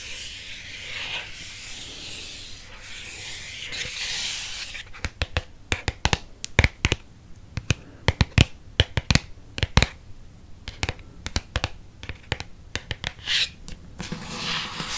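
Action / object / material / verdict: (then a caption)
scrape / hardcover book with cardboard spine / cardboard / none. Fingernails scratch and rub along the cardboard spine of a thick red hardcover paper book held sideways. A steady, bright scratching hiss fills the first five seconds, then gives way to a quick series of sharp, dry clicks and taps. Soft rubbing returns at the end.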